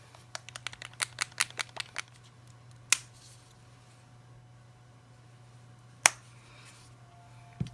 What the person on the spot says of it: when you shake it you can hear the ball